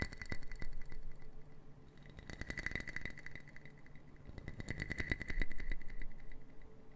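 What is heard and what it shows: A small brown wooden puzzle box made of interlocking solid wood pieces is held in both hands while long painted nails tap and click its pieces, rattling them. Quick, dense wooden clicks and taps come in uneven bursts, growing busier in the middle and again near the end, with a faint bright tone ringing through them.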